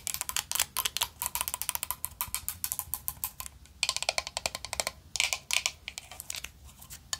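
A closed, hollow, round vintage gold-tone metal powder compact with a black rose print is tapped quickly with long nails. The result is dozens of rapid, bright, clicky metallic taps that die away almost instantly, coming in uneven bursts with brief pauses over about seven seconds.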